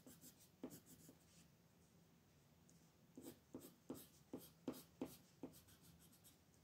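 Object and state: Colored pencil shading on paper.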